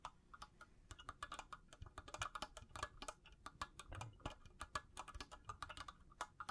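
A hand-sized, hollow, empty cylindrical makeup brush holder with faceted clear crystal bead panels, likely glass or acrylic on a frame, is held in both hands and tapped and scratched with long blue-painted natural nails. It makes quiet, rapid, irregular clicks with a bright, glassy tick around 1.2 kHz that dies out almost at once, over a soft scratchy rustle.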